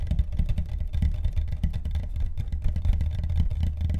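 Fast tapping on the deck of a carbon fiber longboard produces a rapid, continuous stream of dull, deep thuds. The taps are short and dry with almost no ring, and the sound is concentrated in the low range.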